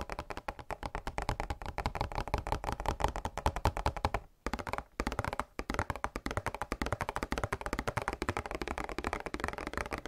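A flat, hollow, printed cardboard product box is held in both hands and tapped rapidly with fingertips and nails on its faces and edges. The result is a steady stream of dull, hollow thuds with light clicks, each dying away almost at once, broken by a couple of brief pauses in the middle.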